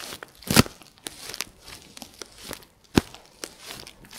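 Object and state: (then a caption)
Plastic bubble wrap. A piece of clear plastic bubble wrap is squeezed and crinkled by fingers and nails. A steady bed of soft crinkling is broken by short, sharp crackles, with two louder snapping pops standing out near the start and past the middle.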